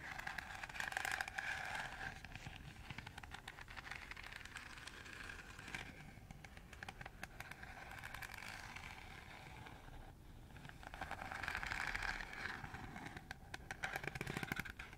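Fingernails run rapidly across the radial slots of a round, hollow, empty green plastic colander, scratching and scraping. The result is a dense, uneven stream of rapid ticking and rasping with a bright plastic ring near 1.6 kHz, swelling louder in bursts near the start and end.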